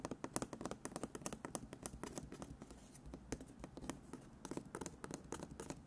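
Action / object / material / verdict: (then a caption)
tap / embroidered fabric in a wooden embroidery hoop / fabric / none. Fingertips and short nails tap quickly on embroidered fabric stretched in a wooden embroidery hoop held close to the mic. The result is a fast, irregular patter of soft, dry taps with a low thump and a brief bright click at each touch, dying away almost instantly.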